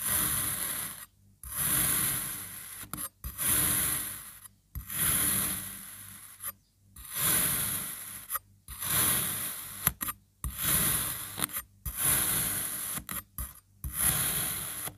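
A black serrated knife slices thin layers through a solid pink kinetic sand crab, one after another. Eleven gritty, rasping strokes, each with a bright hiss on top, are separated by brief silences. Each slice ends abruptly, with no ring.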